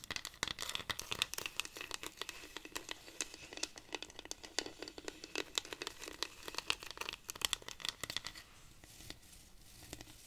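A hollow dried-cactus wooden rainstick, held upright, is scratched with long nails along its ridged wooden surface. The result is a dense run of quick, dry, bright scratches and crackles with no low end and almost no ring. The scratching thins out and grows quieter over the last couple of seconds.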